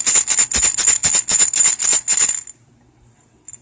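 A medium-sized ceramic aromatherapy rattle with a burlap texture, the first of three, is shaken in a quick, steady rhythm. It gives a bright, high-pitched rattling hiss for about two and a half seconds before going quiet, with a faint rattle at the very end. The rattle sounds normal.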